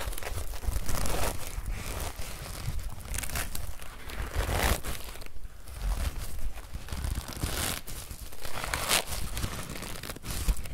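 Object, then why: Woven straw hat brim. The brim of a woven straw hat is held up and squeezed, rubbed and scratched with fingers and nails. It makes a steady, dry crinkling and crackling with bright bursts of scratching. The sound rises and falls in overlapping waves for about ten seconds.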